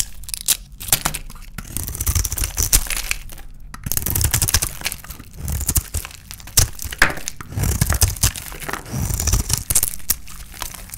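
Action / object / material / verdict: scrape / painted bar of dry soap / soap / none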